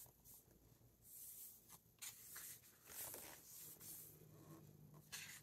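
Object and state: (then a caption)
Paper book pages being turned. Fingertips slide across and turn the matte paper pages of a large hardcover Wizard of Oz and Wicked book lying open on a wooden table, one page at a time. Soft, bright, airy rustles build into several crisp page flips. The sound is quiet throughout, with little low end.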